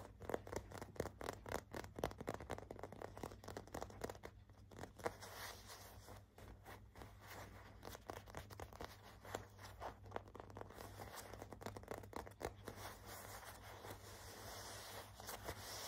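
Short nails and fingertips scratch and rub the printed Hello Kitty graphic on a beige cotton fleece sweatshirt held against the chest. Quick, irregular, dry scratching strokes come about four per second over a steady low hum, with soft rubbing between the sharper scrapes.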